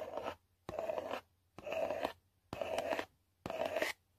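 A long nail scrapes and scratches the flat printed face of a yellow Walmart selfie stick cardboard box in five separate strokes. Each stroke is a dry, papery rasp with a steady mid-range tone and bright hiss, separated by short silent pauses.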